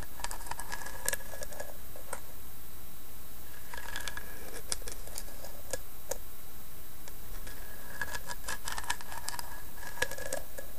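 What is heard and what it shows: Long painted nails tap and scratch the carved lid of a small hollow carved wooden box with a bone-like inlay on the lid, resting on a bedspread. Soft, scattered clicky taps and dry scratching come in clusters, with bright ticks and a faint ringing tone around 1.7 kHz, over a steady low background rumble at an even, quiet level throughout.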